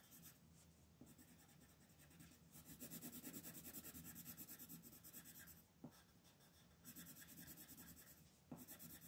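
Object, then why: Wooden colored pencil on thin paper. An orange wooden colored pencil, held in the fingertips, shades a thin paper coloring page with steady strokes. The quiet, rhythmic scratchy rubbing of the pencil tip on the paper carries a bright papery hiss over a faint low hum, with a few slightly sharper strokes standing out.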